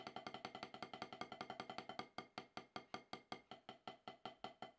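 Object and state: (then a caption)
Rubber drum practice pad. Wooden drumsticks tap on a solid octagonal HQ snare practice pad with a dark rubber surface. The strokes are short, dry, woody knocks centered around 750 Hz with a bright click and almost no ring. They come quickly for the first two seconds, then settle into a slower, steadier, evenly spaced pattern.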